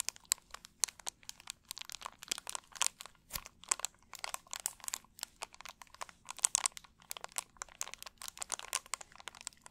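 An empty, hollow, clear plastic drink bottle is squeezed and crinkled with both hands and fingertips. Quick, bright crackling and crunching bursts come one after another with almost no ring, over a faint low hum.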